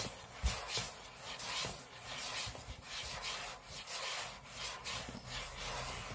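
Short fingernails scratch the aluminium lid of a closed space-grey MacBook lying flat on a table, heard close up. Irregular back-and-forth strokes make a bright, raspy hiss that swells and fades, with one brief low thump near the start.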